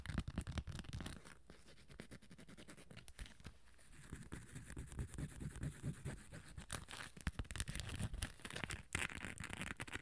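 Long acrylic nails scratch the rough glitter surface of a small hollow hard cosmetic case coated in gold glitter with a beige top. The result is a dense, rapid, gritty scratching with a heavy low rumble and brief bright crackles. It softens for a few seconds in the early middle, then grows louder and busier again.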